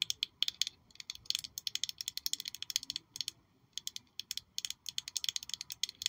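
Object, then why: Small glass perfume bottle. Long nails tap and scratch a small black glossy glass perfume bottle shaped like a high-heel shoe with a red sole, held in one hand. A rapid, uneven run of dry, bright clicks comes in tight clusters, each tick dying almost instantly, with a glassy edge centred around 3.3 kHz and nothing in the low end.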